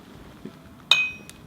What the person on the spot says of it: 가운데를 비워놓고 쳤더니 핀 소리가 나서